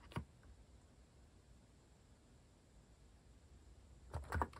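Fingertips type on a compact mechanical keyboard with a white plastic case and plastic cat keycaps. A single sharp keystroke clicks at the start, followed by a long near-silent pause, then a quick burst of several clacky keystrokes at the end.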